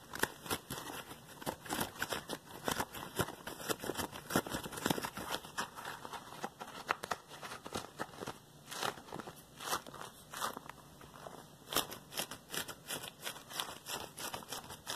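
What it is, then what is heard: Rubber glove being flexed. A single yellow textured latex glove worn on one hand over a wooden floor has its fingers curled, flexed and squeezed so the rubber rubs on itself. This makes a dense run of quick, bright squeaks and crackly rubbing snaps, with very little low end and almost no ring after each one.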